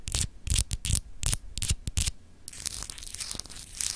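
Long acrylic nails scratch across a palm-sized solid glass globe paperweight with a frosted, etched map. Short, bright, rasping scrapes come in quick bursts with a low thump beneath them, then give way to a steadier, continuous scratching.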